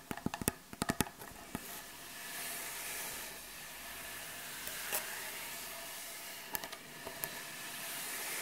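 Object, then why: Wooden butcher block board. Long acrylic nails tap and scratch on a solid, light wooden butcher block board. A quick run of sharp, dry clicks opens the clip, followed by a steady bright, hissing scratch across the wood, with a few more isolated taps near the end.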